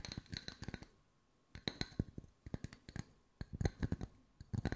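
Wooden circles are tapped with the fingertips at mixed speeds, producing quick bursts of short, dry taps separated by brief quiet pauses. Each tap has a soft low thud with a faint clicky top and dies away almost at once.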